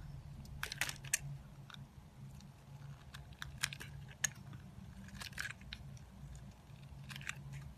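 A solid, hand-sized pink soap bar is held in the hand and shaved and carved with a metal utility knife blade, with shavings and curls falling onto a granite counter. Crisp, bright scraping crunches and short cuts come in irregular bursts, some sharper than others. A steady low hum sits underneath.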